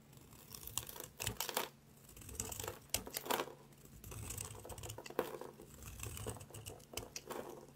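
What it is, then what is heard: Dry soap bar. A yellow utility knife blade scrapes repeatedly across the surface of a solid, rectangular, palm-sized gray bar of dry soap held in one hand, shaving off flaky curls. The result is a dry, crackly, crinkling scrape in uneven bursts, bright and papery with short sharp snaps and almost no ring.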